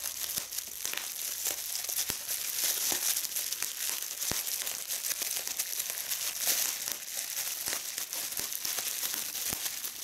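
Clear polyethylene bubble wrap is held gathered in both hands while red-nailed fingers pinch and squeeze individual bubbles. Sharp, dry pops ring out over a steady, bright crinkling rustle as the plastic is worked and the bubbles burst.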